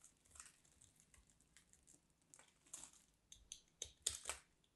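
A small craft knife cuts slices and crumbs from a solid, dry white bar of soap. Quiet, bright, crisp scraping and crunching cuts come at an uneven pace, each dying away almost at once. The last few cuts are sharper and louder than the rest.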